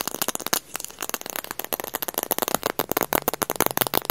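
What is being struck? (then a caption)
Plastic eyeglasses frame with lenses. A small dark plastic eyeglasses frame with lenses, held in both hands, is tapped and scratched with fingernails on the frame and lenses. The result is a rapid, dense stream of crisp, bright clicks and scratchy ticks, with a brief pause near the start.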